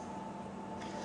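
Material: Nothing is struck.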